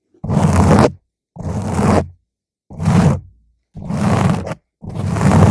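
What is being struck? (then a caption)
Foam microphone windscreen. Long nails slowly scratch the sides of a round purple foam microphone windscreen in five separate strokes, each lasting just under a second with silence between. Each stroke is a dense, rough, crackling scrape with a heavy low rumble and a faint bright hiss on top.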